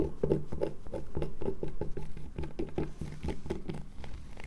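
Long nails scratch and scrape a solid light-blue bar of soap held near the table over its shavings. The result is a quick, uneven run of dull, muffled scratching strokes, about three per second, with low body and little brightness, each dying away almost at once.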